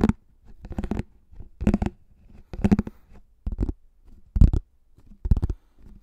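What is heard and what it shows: A pink plastic frisbee with a cartoon face, about 20 cm across with a hollow underside, is held upside-down over a microphone, its rim resting on the mic at one point, while fingertips and short nails slowly tap and scratch its rim and top. Soft, dull clusters of taps and scratchy rustles come in irregular bursts about once a second, with low, hollow body and brief, quickly fading rings.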